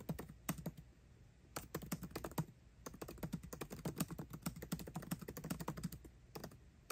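Fingertips type fast on a MacBook Pro keyboard with plastic keycaps in an aluminum body. Quick bursts of dozens of short, dry key clicks, each with a low thud and a bright tick, are broken by brief pauses near one second and two and a half seconds.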